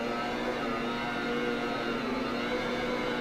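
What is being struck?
Nothing is struck.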